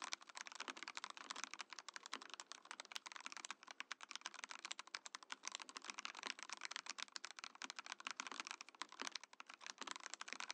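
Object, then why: Mechanical keyboard with acrylic case and plastic keycaps. A compact Mojo68 mechanical keyboard in a transparent acrylic case with cream and orange plastic keycaps is typed on quickly with the fingertips of both hands. A steady stream of sharp, bright, clacky keystrokes runs for about ten seconds, each tap short and dry with almost no low end.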